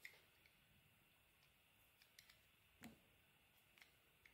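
A solid, translucent pink glycerin bar soap is held in the hand and sliced into thin sheets with a metal blade. About eight short, crisp, bright cuts and scrapes stand out over a quiet background, with the strongest, fullest slice near the middle.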